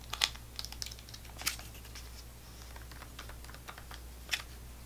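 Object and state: Fingernail taps on a plastic foil snack pouch.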